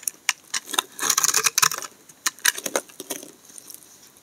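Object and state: Soap bar shaved with a blade.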